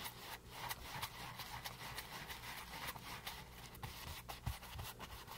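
A flat paint brush loaded with wet paint rubs and scrubs across a small, flat, solid stretched canvas board that is painted green with white edges and lies on a table. Soft, bristly swishes and scratchy strokes repeat steadily, with brief brighter streaks over a faint low hum.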